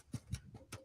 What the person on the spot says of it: we'll give it a good tap. Yep, she's cooked pretty well through